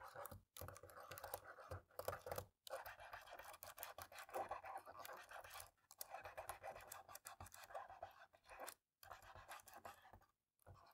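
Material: Plastic.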